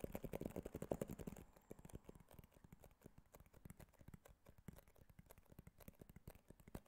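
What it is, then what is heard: Cardboard box tapped. Fingertips and nails tap quickly on the glossy front and sides of a small white cardboard iPhone box held in the hand. For the first second and a half the taps are louder, denser, and more hollow-toned. After that they become softer, drier clicks at an uneven, rapid pace.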